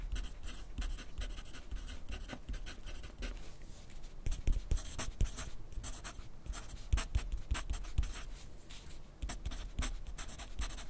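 A yellow wooden graphite pencil writes continuously on a thin grid paper sheet resting on a white clipboard. The pencil tip gives dense, dry scratching strokes with short bright rasps over a soft low rumble. The level stays fairly steady, with small swells as the strokes press harder.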